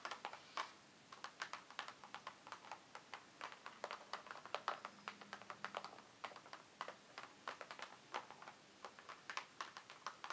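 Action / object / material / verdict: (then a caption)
tap / cardboard box / cardboard / none. Fingertips and long nails tap at the sides and edges of a closed, printed, hollow cardboard advent calendar box resting on a wooden table. The quick, light taps come in irregular bursts of bright, dry clicks that die away almost at once.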